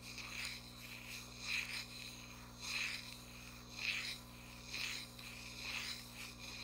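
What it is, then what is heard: Cardboard box scratched. Nail tips rub and scratch across the printed front face of a small cardboard box in slow, repeating strokes. Each stroke makes a soft, bright, papery rasp that swells and fades, with a faint steady low hum underneath throughout.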